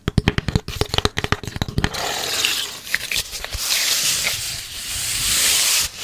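Long red nails work over a long, flat strip of light, hollow-fluted brown corrugated cardboard with a visible ridged edge. About twenty quick, dry clicking scratches come first over the opening two seconds. They give way to a continuous hissing, papery rub as the nails scrape along the surface and edge.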